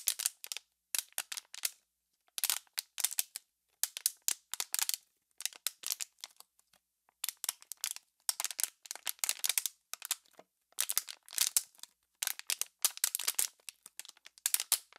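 Hands with long nails squeeze an empty, hollow, clear PET plastic water bottle, making quick bursts of bright, high popping and crackling. The crinkles come in short clusters separated by brief silences, with no low end and almost no ring after each snap.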